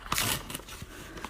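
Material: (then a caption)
Paper. A sheet of half-sized xuan rice paper is torn by hand, giving a crisp, dry ripping burst followed by a few smaller sharp snaps. The torn edge shows almost no cotton fibres, marking it as brittle half-sized paper of lower quality.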